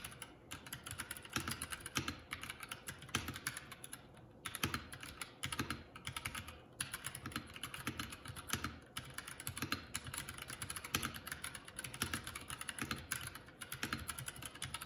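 A Keycool K84 75% mechanical keyboard with plastic keycaps is typed on continuously with the fingertips of both hands. The result is a steady stream of quick, bright, clacky keystrokes with short, dry decays and a low thock underneath, broken by brief pauses near 4 and 6.5 seconds.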